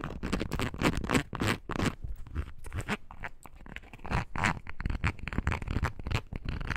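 A small, hollow, light-blue foam rubber clog, a toy-sized bird foraging shoe, is held in the hands while long nails scratch quickly across its ridged sole. The result is a run of fast, irregular, dry scratching and crunching bursts, mostly dull and low with short, brushy tails and no ring.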